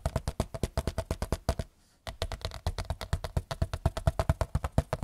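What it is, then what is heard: Large picture frame. A large white picture frame is tapped rapidly with fingertips, making a quick run of about 38 short, dull, low-pitched taps with very little ring. The taps break off for a brief silent pause just before the two-second mark, then resume at a steady, fast pace to the end.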